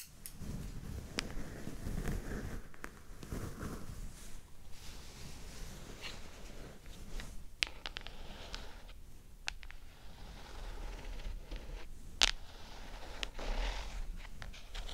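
A closed black and turquoise New Nintendo 2DS XL handheld game console lies face down on a fluffy rug while long acrylic nails tap and scratch across its textured carbon-pattern plastic back. The small hollow plastic shell answers with soft, dry clicks and scratchy rustles over a low rumble, with a few sharper, brighter taps standing out.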